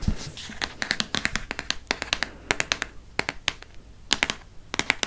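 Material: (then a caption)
Paper, board. A hardcover paper book, held sideways, has its spine tapped quickly with fingernails. The result is a rapid, uneven run of sharp, dry clicks that are bright and crisp, each dying away almost at once over a faint low background hum.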